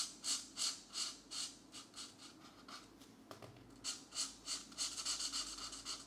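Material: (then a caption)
Paper. A green felt-tip marker rubs and scratches back and forth across a page of an open paperback mandala coloring book lying flat, while the other hand holds the page down. Quiet, bright, hissy strokes repeat at a steady rhythm of about three per second. There is a brief pause past the midpoint before the coloring resumes.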